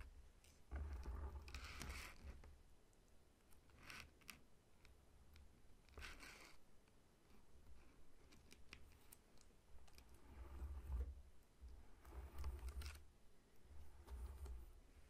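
Fingertips and short nails tap and scratch the scaly rind of a whole, solid pineapple lying on a table. Quiet, irregular bursts of dry, bright scratching alternate with soft, low thumping taps, and the scratching swells loudest around the second, sixth and twelfth seconds.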